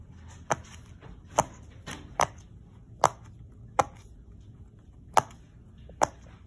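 Fingertips press and pop the hollow bubble domes of a round, hand-sized rainbow silicone pop-it fidget toy, row by row, on a wood-look floor. Eight short, sharp pops with a mid-pitched snap ring out at uneven intervals. Each one dies away almost instantly over a faint background hush.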